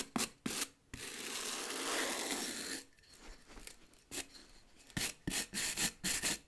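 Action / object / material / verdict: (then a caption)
scrape / rubber boot sole / rubber / none. A wooden-backed bristle brush scrubs the solid rubber tread of a tan work boot's sole in long strokes. A few short, bright scratchy swipes lead into one long, steady rasping stroke, followed by a quieter stretch and then a run of quick, crisp brushing bursts.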